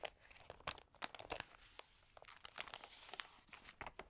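Fingertips rub and turn the wavy, water-sprayed thin pages of an open glossy paper magazine. The result is a quiet series of sharp, bright crinkles and crackles with very little low end. Each burst is short and dies away almost instantly.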